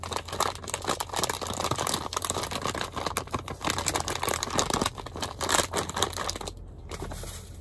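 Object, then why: Thin plastic candy bag full of candies. A medium-size Starburst candy bag of thin printed plastic, full of candies, is held and crinkled and squeezed by the fingertips. It makes dense, continuous crackling and crinkling for about seven seconds, briefly dropping quieter near the end, over a steady low hum.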